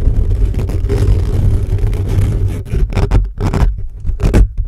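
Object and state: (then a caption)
Metal mesh microphone grille scratched. Fingertips and short nails of both hands scratch fast and aggressively at the hollow metal mesh grille of a large black USB condenser microphone on a stand. The result is a dense, boomy, low rumbling scrape that is steady at first, then breaks into choppy bursts with brief gaps toward the end.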